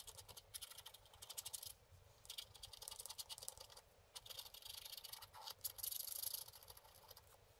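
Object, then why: Wax-coated scratch art card scratched with a wooden stick. A wooden stick scratches across the upper sky area of a flat, wax-coated scratch art sheet. Quiet, dry, bright scratching comes in quick rasping bursts separated by short pauses, with almost no low end and no ring after each stroke.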